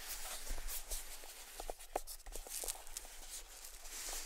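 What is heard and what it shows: A small, hollow, closed grey cardboard gift box with a white ribbon bow is held in the palms while fingertips tap and scratch along its edges and lid. Quiet, irregular soft taps with a hollow, papery knock mix with bright, hissy scratching over a faint low rumble.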